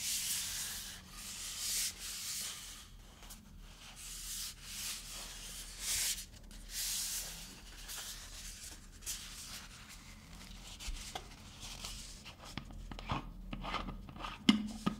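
A labelled birch water bottle with a white plastic screw cap is held and turned in the hands while fingertips rub and scratch the cap and bottle. Soft, bright, hissy rubbing swells in and out over a faint steady low hum, growing quieter and sparser later with a few sharper clicks and ticks near the end.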